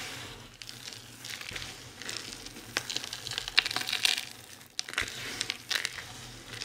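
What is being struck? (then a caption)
Pile of soap shavings. Hands quickly press, crush and rub a pile of fine, dry soap shavings and crumbs. The sound is a dense run of crisp, bright crunching and crinkling crackles with sharper snaps throughout. There is almost no low end.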